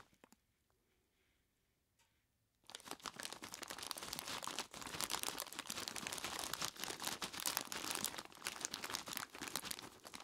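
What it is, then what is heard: Plastic bag of ice cubes. A large clear plastic bag full of ice cubes is squeezed and rubbed by the fingertips of both hands. After about two and a half seconds of near silence with a few faint clicks, a dense, bright crinkling of plastic and crunching of ice starts and continues steadily to the end, with only a brief dip partway through.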